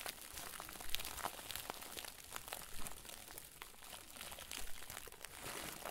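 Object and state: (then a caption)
Plastic bag crumpled into a crinkle ball. A round white plastic bag stuffed into a crinkle ball is squeezed and crumpled by the fingers and thumbs of both hands. The result is a steady stream of soft, bright crinkling with sharp crackles scattered throughout and a low rustling rumble underneath.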